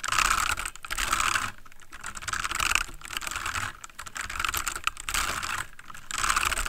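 Fingertips of both hands type rapid key taps on a full-size backlit plastic mechanical computer keyboard. The result is a dense stream of bright, sharp clicks with no ring, centered around 2.6 kHz, coming in bursts separated by brief softer lulls.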